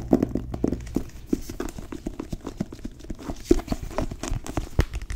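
Long nails tap quickly and unevenly on the cover of a solid blue cloth-bound hardcover book with gold lettering. Each tap is a short, dull, low-mid knock that dies away almost instantly, with a few louder taps standing out from a soft, continuous patter.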